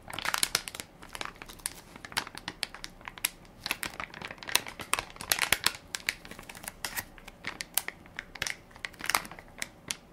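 Fingertips and nails crinkle and press the soft plastic-film top of a full baby wipes pack with a plastic lid, held in one hand. Dense, bright crackling and crinkling come in quick bursts, with sharp snaps that die away at once and almost no low end.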